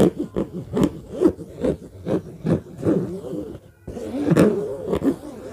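Fingertips tap and scratch across the top surface of a hollow orange fabric suitcase with a black zipper. Soft, dull, muffled taps fall in a steady series over low-mid rasping scratches. After a brief near-silent pause, the scratching returns denser and fuller.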